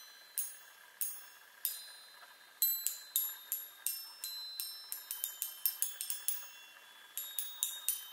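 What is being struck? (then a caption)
Hollow metal tubes on a wooden frame. Long nails tap rapidly on the hollow metal tubes of a small handheld chime set on a wooden frame, giving 21 separate bright, high, glassy pings. Each ping decays almost immediately over a quiet background with no low end. The taps come in irregular clusters, some spaced apart and others in quick runs.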